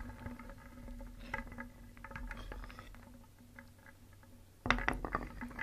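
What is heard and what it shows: A hand stirs many small, solid, painted wooden toy pieces in a round wooden bowl with a wooden spoon, so they knock and rub together. Soft, hollow wooden clicks and scraping patter run steadily, fading quieter midway, then a sudden louder burst of sharp clacks near the end.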